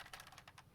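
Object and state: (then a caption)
Loose thumbstick on a game controller. A Razer Wolverine Tournament Edition game controller fitted with a swapped-in plastic thumbstick is shaken, and the loose stick rattles in about six quick, bright plastic clicks. The thumbstick's attachment has no strength, so it sits loosely in the controller.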